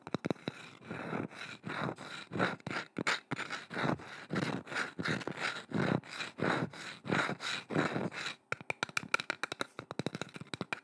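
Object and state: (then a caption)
Painted wooden carving, scratched and tapped. Long nails scratch and tap a curved, solid wooden boomerang-shaped carving with a painted swirl design, held horizontally close to the microphone. Steady, rhythmic bursts of dry scratching, with a faint ringing tone near 1.4 kHz, give way near the end to a quick run of sharp, crisp taps.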